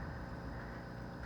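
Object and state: Nothing is struck.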